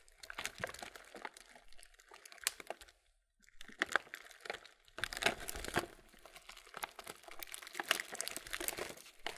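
A printed laminated plastic Kellogg's muesli bag has its bottom gusset pressed and crinkled with the thumbs. The result is dense, bright crinkling and crackling in bursts, with a short near-silent pause around three seconds before the crinkling resumes more steadily.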